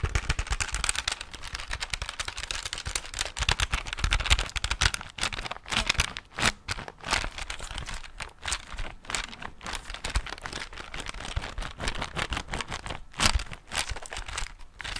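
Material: Plastic.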